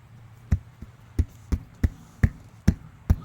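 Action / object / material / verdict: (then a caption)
knock / fiberglass camper side wall / fiberglass / hollow. Knuckle knocks on the corner of a camper's fiberglass side wall, where water getting in behind the panel has caused delamination and the panel pushes in. Seven short, dull, low thuds sound out at a steady pace, each dying away almost at once. The knocks sound hollow over the damaged area.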